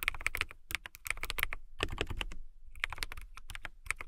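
Long fingernails type on a clear acrylic mechanical keyboard with transparent keycaps, producing rapid bursts of crisp, bright clicks with a soft low thud under each press. The keystrokes come in quick runs with a short pause near the middle, each click dying away almost instantly.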